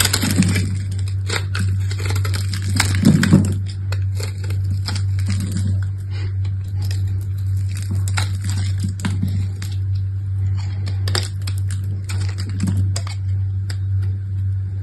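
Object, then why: Soap bar scraped with a small metal blade. A small solid rectangular bar of green soap, held in one hand with long red-painted nails, is scored and scraped with a small metal blade, shaving crumbly cubes onto a cloth. Many quick, crisp crackling and crumbling scrapes rise over a steady low hum, with bright sharp clicks and a few louder crunchy bursts near the start.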